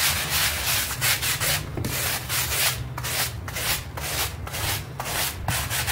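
A stiff-bristle hand brush scrubs a small, foamy, soapy pink textile rug in long strokes. Each stroke gives a bright, rasping hiss with a wet, crackly edge, repeating roughly once a second over a steady low hum.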